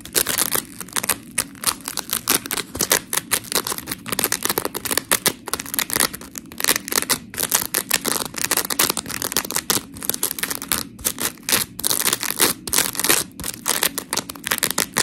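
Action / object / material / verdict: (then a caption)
scrape / polymer foam scrub sponge / polymer foam / none. Long pink nails scratch the surface of a dry, white smiley-face scrub sponge made of coarse, porous polymer foam, near its eye hole. The result is a steady stream of rapid, gritty, bright scratching bursts with almost no low end and no ring after each stroke.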